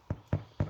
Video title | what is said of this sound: Overnight sourdough loaf, explained step by step. | if it sounds Hollow like that it's done